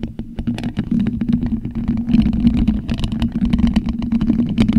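Plastic skeleton fingertips scratch a black, hollow metal mesh microphone grille, making dense, rapid scratchy clicks over a steady low hum near 230 Hz. The bright scraping bursts come in quick, uneven succession throughout.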